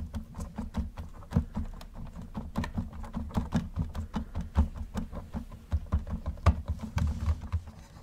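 Gloved fingers tap and rub the roof of a hollow yellow plastic Camaro model car, making a rapid series of short, dry, low hollow taps with a soft rubbing patter between them. Near the end the car is rotated, adding a brief scuffing rattle.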